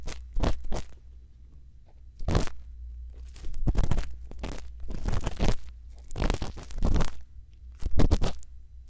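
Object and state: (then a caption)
Silicone ear being scratched with a bamboo earpick. A thin bamboo earpick is inserted into the silicone ear of a binaural microphone and scratches inside the ear canal. Close, crunchy scraping comes in uneven bursts separated by quieter gaps, over a constant low hum.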